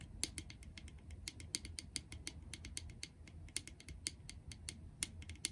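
Long acrylic nails tap a small, clear, empty, hollow plastic jar on its side and base. Quick, irregular, sharp, bright clicks cut off almost at once, with a faint low rumble underneath. The taps stay quiet and uneven throughout.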